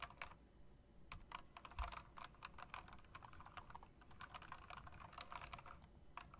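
Long dark nails and fingertips tap and type across an RGB-backlit, plastic and metal typewriter-style mechanical keyboard with round chrome-rimmed keycaps. A steady, fast run of crisp, clicky keystrokes sounds over a low background rumble, each tap short and sharp with almost no ring.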